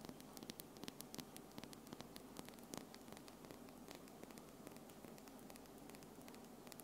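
Long, solid pink-and-white acrylic nails on one hand tap against the nails of the other hand in quick succession. The result is a quiet stream of sharp, bright clicks, each dying away almost at once, over a faint steady hum and hiss.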